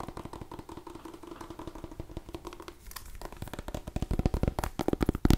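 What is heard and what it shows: A small cream-and-orange striped mini pumpkin, a hollow gourd, is held in one hand and tapped with the long nails of the other hand. A rapid series of dozens of light, dull, hollow clicks is heard, mostly low-pitched. The taps grow louder and sharper toward the end.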